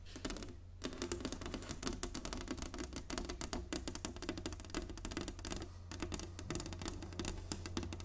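Fingernails of both hands tap fast on an inlaid wooden chessboard resting on a table. The result is a dense, rapid stream of short, dry, clicky taps with almost no ring, over a steady low hum.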